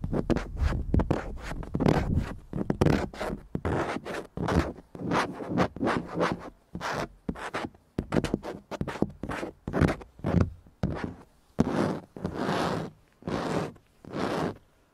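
A fingertip and nail scratch along a large, grained dark plastic car dashboard panel with slotted vents and a round hole, likely hollow behind. The result is a run of short, dry, rasping strokes with a dull low body, easing into a few longer, smoother scrapes toward the end.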